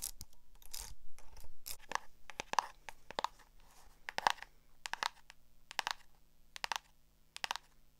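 Long acrylic nails scratch and tap the cover and metal spiral binding of a small black hardcover notebook. Soft scratching rustles open the clip, followed by sharp, bright clicks that fall in spaced clusters, some in quick doubles. Each tap cuts off almost instantly against a quiet, low hum.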